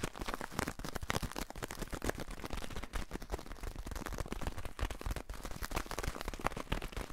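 A small, lightweight, hollow white paper pouch is held close to the microphone and crumpled, rubbed and folded with the fingers throughout. The result is dense, continuous crinkling and rustling with sharp crackly bursts and a heavy, close-up low-end rumble.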